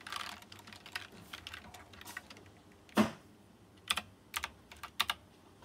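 Fingertips type on a white plastic mechanical keyboard with round chrome-rimmed keycaps, giving a run of quick, bright clacks. One loud, sharp keystroke stands out near the middle, followed by a few sparser, spaced clicks.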